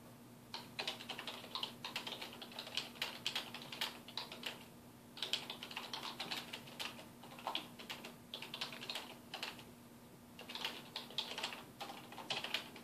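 Fingertips of both hands type on a black plastic computer keyboard with a hollow housing resting on a wooden desk. Rapid, bright, short key taps come in bursts, with brief pauses near the 5- and 10-second marks. A faint steady low hum runs underneath.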